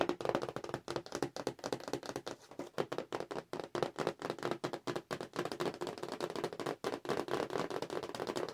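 Long nails tap fast across the cardboard backing of a Star Wars Forces of Destiny toy package held in the hands. The result is a rapid, steady stream of short, dry clicks and taps with a mid-range body around 340 Hz and almost no ring after each strike.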